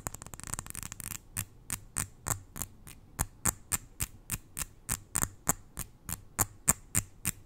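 Long nails tap on a small glass jar full of white granules held close to the ear. A quick flurry of taps comes first, then the taps slow into a steady run of sharp, bright clicks that die away almost at once. A faint low hum sits underneath throughout.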